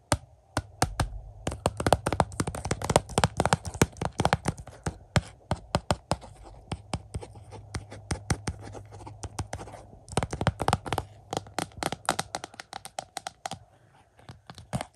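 Fingertips and nails tap, scratch and trace across the front of a hollow, clear plastic Criterion Blu-ray case of The Red Shoes with a paper insert. Rapid, dense clicky taps come in bursts over a soft low hum and faint scratching, thinning out in the middle and picking up again toward the end.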